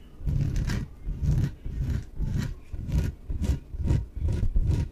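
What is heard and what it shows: Long nails scratch the surface of a small, hollow, air-filled yellow inflatable PVC exercise ball in repeated strokes. Each stroke gives a low, hollow, rumbling rasp with a faint bright edge, separated by brief quieter gaps.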